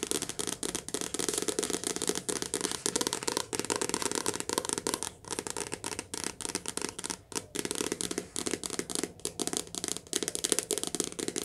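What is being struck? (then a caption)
Soft cover paper book. Fingertips tap rapidly and continuously on a soft cover paper book in a cottage, producing a dense stream of dry, papery taps. The taps have a bright, crisp texture and a hollow body around 430 Hz, with short, quick decays.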